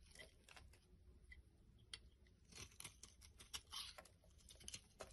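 A solid yellow soap bar with a ridged edge is held in the hand and scraped with a small black blade, so curly shavings peel off onto a wooden board. The scraping comes as a quiet run of short, bright, crackly strokes that pile up quickly and overlap, with a low rumble underneath.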